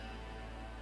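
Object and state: Nothing is struck.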